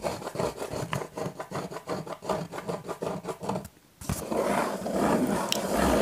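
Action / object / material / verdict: scrape / cardboard pizza box / cardboard / none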